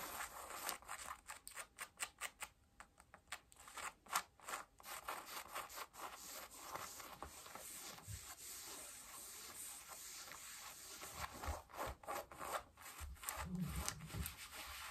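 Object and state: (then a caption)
Denim jeans scratched by nails. Long nails scratch and rub the front pocket and thigh of worn blue cotton denim jeans. Quick, dry scratching strokes give way to a steadier, soft fabric rubbing, then sharper scratches return near the end, all with a quiet, bright, high texture.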